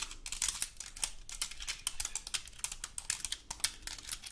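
Long gold metal claw nails scratch across the scales of a large, dry, woody pine cone. A rapid, irregular series of crisp, dry clicks and scratches follows, bright and high with almost no ring or low end, like fast typing on a keyboard.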